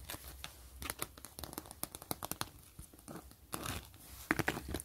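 Long nails and fingertips scratch and tap the crinkly surface of a flat, thin gray zipper pouch made of translucent plastic with a grid-mesh pattern. Quick, dry clicking taps mix with short, rustling scratches and crackles that die away almost instantly, producing a steady, crisp crinkle with bright edges.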